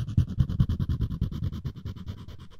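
Floss string is rapidly rubbed and scratched across the edge of a solid wooden spoon handle. It makes a fast run of short, dry, low rasping strokes with faint bright texture above. The strokes gradually grow quieter toward the end.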